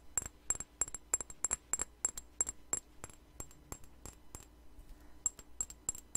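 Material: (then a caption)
Glass. A small clear glass perfume bottle with a white flower cap is held in the hand and tapped with long nails near the microphone. Twenty-two quick, irregular taps give bright, high glassy clicks that die away almost at once, bunched in the first half with a short pause before a final burst.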